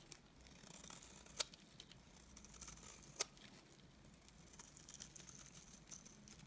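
A utility knife blade scrapes curls off the face of a solid, dry, cream-colored rectangular bar of soap. The result is a quiet, steady, bright, crisp scratching and crackling with a faint low hum beneath, and two sharper snaps stand out partway through.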